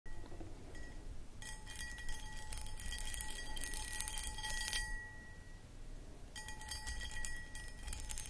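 Long acrylic nails tap and scratch the outside of a medium-sized, empty, hollow clear cut glass footed pedestal bowl with a textured starburst pattern. Bright glassy clicks and scratches come in two dense bursts over a low, steady background rumble. Thin chime-like rings rise above the scratching.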